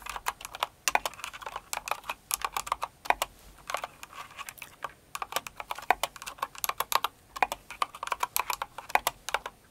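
Long acrylic nails from both hands type on a mechanical keyboard with plastic keycaps, themed after Cinnamoroll. The result is a rapid, irregular stream of short, sharp clicks and clacks that land mostly in the mid range, with bright high edges and almost no low end. Each click dies away almost instantly.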